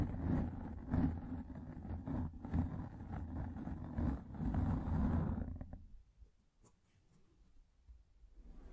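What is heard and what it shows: A pink, fluffy microfiber makeup remover pad placed over a microphone is scratched with long nails, producing a dense, muffled, low rumbling scrape with soft thumping pulses. The scratching stays loud and steady for about five and a half seconds, then fades to faint, quiet rustling for the rest of the clip.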